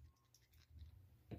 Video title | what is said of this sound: Dica de teste de capacitor eletrolítico | Esse outro aqui não chacoalha